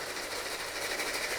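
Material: Nothing is struck.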